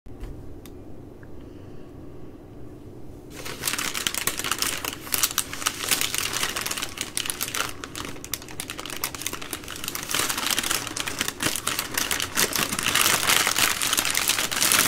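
Long glittery nails tap and scratch the crinkly plastic overwrap of a full three-pack of soft plastic baby wipe packs lying on a wooden table. After about three seconds of quiet low hum, a dense, bright crinkling starts, full of rapid irregular taps and scratchy rustles. It grows slightly louder toward the end.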